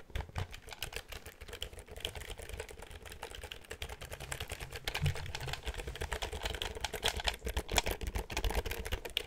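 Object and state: Plastic computer keyboard.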